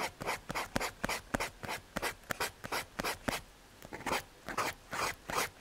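A paper blending stump is rubbed over a graphite drawing on a small, flat, solid brown MDF/hardboard panel. About twenty short, dry, scratchy strokes follow in a quick rhythm, each a bright, papery hiss with almost no ring. Near the end a few longer, smoother sweeps come in.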